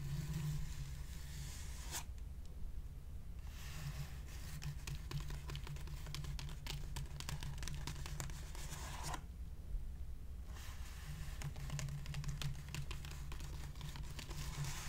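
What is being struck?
Plastic padded mailer envelope.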